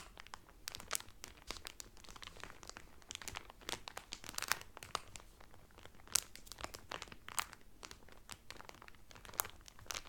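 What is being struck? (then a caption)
Cellophane film over a folded cotton towel. Fingers and nails rub and crinkle thin plastic cellophane wrapped around a flat folded cotton towel from a Carnival cruise. The sound is a dense run of sharp, bright crackles with brief louder snaps scattered throughout, over a quiet low background.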